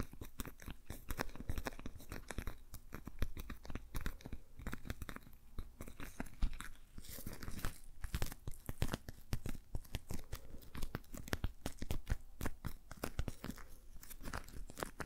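A patterned rubber dish glove worn on one hand has its gloved fingers rubbed and tapped by the other hand. The result is a dense, continuous stream of quick, dry, crunchy taps and squeaky rubbing with a close, muffled, low-heavy tone, in a steady rhythm throughout.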